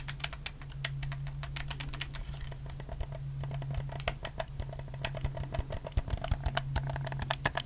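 Fingertips click the buttons and triggers of a black, hollow plastic PS4 game controller close to the mic, giving a rapid run of short, bright plastic clicks. A steady low hum runs underneath, and the clicks grow louder and sharper toward the end.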